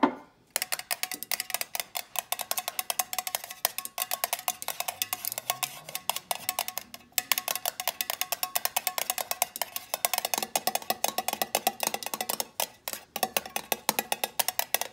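Long painted nails tap rapidly on a small glass Hello Gourdgeous jar candle, full of wax, striking both the top of its black screw lid and the labeled side. The result is a dense stream of sharp, bright clicks with a hollow ringing tone, each dying away almost instantly. There are a few brief pauses, and a faint low tone rises in the background partway through.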